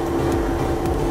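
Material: Nothing is struck.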